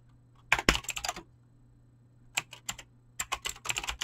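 Fingertips type rapidly on a backlit, full-size mechanical keyboard with pink and blue PBT plastic keycaps and clicky green switches. Three quick bursts of sharp, bright key clicks are separated by short pauses, each click dying away almost at once over a faint, steady low hum.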